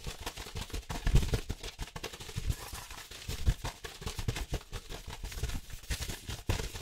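Fingertips and nails quickly scratch and tap the surface of a large, flat, yellow-brown paper manila envelope held up in the air. The result is a dense run of dry, papery scratches and soft, low thumps.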